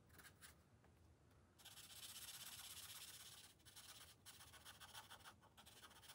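A green felt-tip marker rubs short strokes across the thin paper page of an open coloring book resting on a glass table. It makes a bright, papery scratching hiss that starts soft, swells into a long steady rub, then breaks into quicker back-and-forth strokes with brief pauses.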